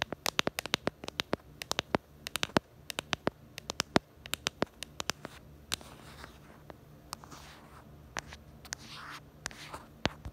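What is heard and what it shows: Long acrylic nails tap rapidly on the back of a handheld smartphone in a pink plastic case with a black bumper, making dozens of sharp, dry clicks with a bright edge that stop instantly. Toward the end the tapping thins out and gives way to softer, hissy scratching across the case.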